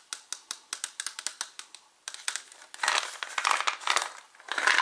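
Fingertips and short nails tap and scratch the white plastic lid of a translucent plastic H-E-B gummy vitamin bottle, which is hollow and partly full. A steady run of light, sharp clicking taps gives way to denser, brighter scratching and rasping across the lid, all thin and high with no low end.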